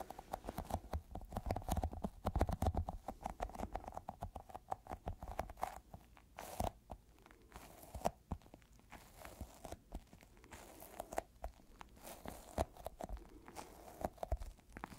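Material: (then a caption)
Rubber. A small, solid, yellow sticky squishy rubber toy ball is squeezed and tapped with the fingertips so it deforms. A dense run of soft, quick sticky taps and crackling, peeling snaps continues throughout, with a faint recurring mid-pitched tone and a low, muffled body. The sound stays fairly quiet, with short bursts that swell and thin out over time.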